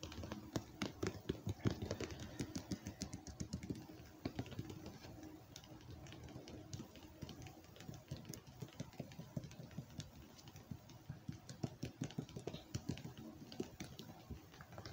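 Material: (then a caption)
Plastic. Fingertips tap quickly on the label side and near the lid rim of a hollow, red-lidded plastic ice cream tub. The result is a dense, steady stream of short, dull, low-heavy taps that die away almost instantly, with the first few seconds slightly louder.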